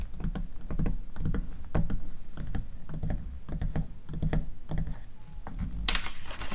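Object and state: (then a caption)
Glossy paper magazine. Long acrylic nails tap and scratch across the pages of an open glossy paper magazine catalog, making a steady run of soft, low thuds with light clicks. Near the end a page turns with a bright papery swish before everything goes still.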